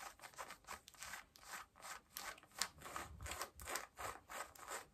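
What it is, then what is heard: Denim jeans scratched with fingernails. Long nails scratch pale yellow denim jeans at the waistband and front pockets. The result is a quiet run of rhythmic, dry rasping strokes, each a brief bright scrape with a soft fabric hiss and little low end.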